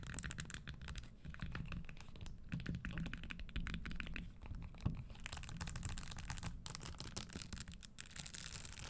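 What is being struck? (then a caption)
Leather stiletto pump with metal spikes. Long nails rapidly scratch and tap along the spiked upper of an empty red spike-studded leather Christian Louboutin stiletto pump standing on a wooden table. The result is a dense, steady stream of quick clicks and scrapes over a low, muffled body, with a brighter, hissier crackle toward the end.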